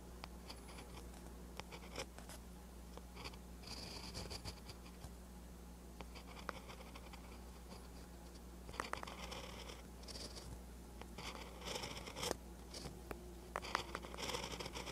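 A pen held in the fingers writes green Hangul on a lined paper notebook page, its tip scratching over the paper surface. Short dry scratching strokes come in quiet bursts, with bright hiss above a steady low hum.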